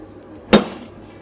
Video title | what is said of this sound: 謎多きセラミックス部品の製造工場に潜入！ | 鉄で鉄叩いてへこんだって感じですね